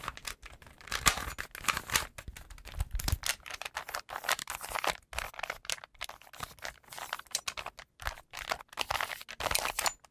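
Fingertips twist and turn the layers of a small solid plastic 3x3 Rubik's cube with colored stickers, making rapid, dense clicking and clattering. The clicks are short, crisp and bright with almost no ring, and a brief low thump comes near the three-second mark.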